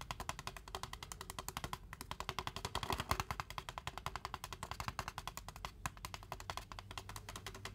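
A large white foam fast-food cup with a blue Braum's print, held in both hands with no lid and reportedly holding water, is tapped rapidly all around its side wall with fingertips and nails. About 76 quick, dry, hollow clicks arrive in an uneven stream, each bright and short with almost no ring.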